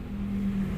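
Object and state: Nothing is struck.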